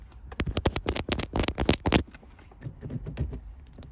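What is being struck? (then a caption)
Metal gear shift knob. Long white acrylic nails tap and scratch a small, solid, round chrome metal gear shift knob engraved with a 1-6 shift pattern. A quick burst of about fourteen sharp, bright clicking taps comes first. Softer, rasping scratches follow.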